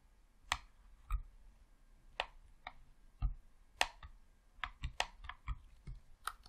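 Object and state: Plastic game controller buttons clicking.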